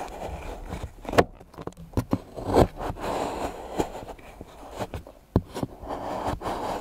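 A large steel knife chops a pile of solid milk chocolate curls into small pieces on a board, with the other hand resting on the blade. Muffled, crumbly crunching and scraping fill the clip. Seven sharp, short knocks ring out as the blade strikes the board.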